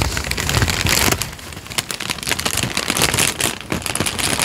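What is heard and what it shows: A single thin, already-creased, peach-colored sheet of paper, roughly letter size, is held in both hands and crinkled and flexed with the fingertips close in front of a microphone. It makes a dense, bright crackling and rustling that runs throughout, with low soft handling thumps underneath, easing briefly before swelling again in rapid crisp bursts.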